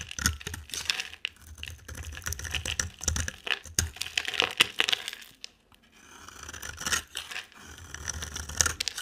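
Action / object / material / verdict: scrape / soap bar scraped with a blade / soap / none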